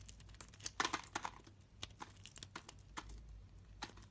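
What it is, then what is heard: Soap bar being carved. A solid translucent green soap bar held in the hand is carved and scraped with a utility-knife blade, giving quick, crisp, bright crackling scrapes. The short, sharp crunches come in irregular bursts over a low, steady background hum.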